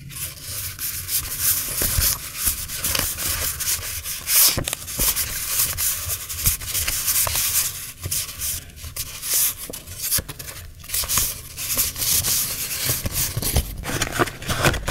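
A small stack of vintage butterfly-print paper memo sheets is held in both hands while a thumb riffles the fanned sheets. The pages flick and rub against each other in a steady, bright, papery rustle. Quick crisp flicks are scattered throughout.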